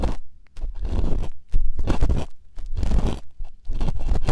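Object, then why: Silicone ear of a binaural microphone. Two plastic earpicks held in fingertips scrape and scratch at the same time inside the hollow canals of two soft white silicone ear replicas on a binaural microphone. The result is a close, muffled run of deep crunching and scraping bursts with rumbling low end and brief pauses between strokes.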